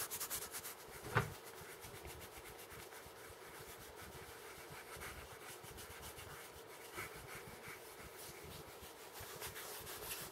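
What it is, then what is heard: Plastic paint jar. A small, apparently full plastic jar of orange acrylic paint with a printed label and a white plastic screw cap is held in both hands and rubbed and handled with fingertips, mainly around the cap. A quiet, steady scratchy rubbing runs throughout, with one sharper knock near the start.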